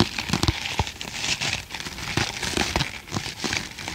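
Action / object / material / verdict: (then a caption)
scrape / foam kitchen sponge / foam / none. Fingertips and nails scratch and squeeze a hand-sized green foam kitchen sponge with a tan middle layer, held upright in both hands. The result is a dense, bright crinkling and crackling texture with brief scratchy bursts and occasional soft, low thumps.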